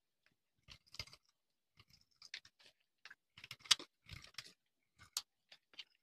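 A hand-held, hand-sized solid tan-orange bar of dry soap is shaved with a metal knife blade, and long crumbly shavings pile up on a concrete surface. Short, quiet, dry crunching scrapes come in uneven bursts, bright and crisp with almost no low end and no ring after each cut.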